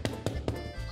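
Three taps on the underside of a hot onion sourdough loaf, checking whether it is fully baked, each giving a short, low, hollow knock. The hollow sound means the loaf is done.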